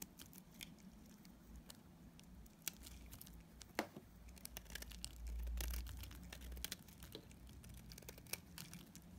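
A multi-blade cutter scrapes curls and chips off a dark grey solid bar of soap, held in the hand and already partly cut away. Soft, dry scraping is broken by irregular crisp crackles and sharp bright ticks, over a low rumble that swells briefly near the middle.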